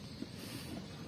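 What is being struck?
Nothing is struck.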